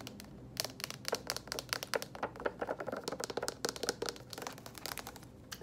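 Long acrylic nails tap and scratch the purple foil-paper lid and then the printed paperboard side of a small Annie's microwave mac and cheese cup that looks sealed and full, held up close. A dense run of quick, dry clicks and crinkly scratches with bright, crisp edges fills the clip, each tap dying almost instantly over a faint low background.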